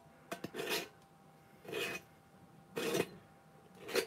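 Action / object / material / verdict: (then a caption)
scrape / empty clear plastic jar, threaded neck / plastic / none. Fingertips and nails scratch and rub the threaded neck and rim of a medium-sized, hollow, empty clear plastic jar with its lid off. Two quick clicks open the clip, followed by four separate rasping, filing-like scrapes spaced about a second apart, each with a bright hiss over a mid-range body.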